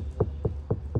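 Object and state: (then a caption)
Sound-deadened car body panel, dull knock. Four evenly spaced knocks on the sound-deadened steel body of a Toyota Highlander IV (XU70), whose doors and wheel arches were treated because they produce the most noise in a vehicle. Each knock is a dull, low thud around 105 Hz that dies away almost at once, with no metallic ring. The treated panel sounds completely different from an untreated area.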